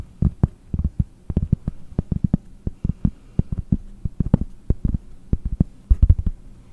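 A round, solid cork disc about 20 cm across is tapped with long nails in a quick, uneven series of soft, dull thuds. Each tap is low and muffled with almost no ring, fading instantly into near silence between hits.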